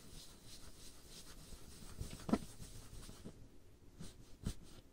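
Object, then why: Varnished wooden tabletop. Long painted nails scratch back and forth across a solid varnished wooden tabletop, making soft, rhythmic, hissy strokes. Two sharper taps stand out from the quiet, dry scratching.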